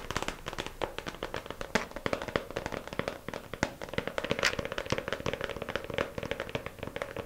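Long pink acrylic nails tap quickly on the lid of a small, hollow, clear plastic compartment organizer case lying flat and filled with press-on nails. The result is a fast, steady stream of short, dry plastic clicks with almost no ring, centered around a hollow midrange tone near 560 Hz with bright tips.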